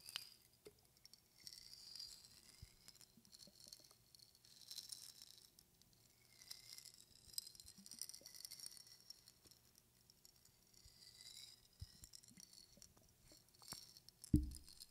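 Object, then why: Glass jar with metal cap holding dried flowers. A clear glass jar with a metal cap, filled with dried flowers and held in both hands, is tapped with long fingernails and tilted so the dried flowers rattle inside. Quiet, close taps and soft patter mix with a faint rustling, and brief glassy rings rise in the upper range. One sharper, louder tap lands near the end.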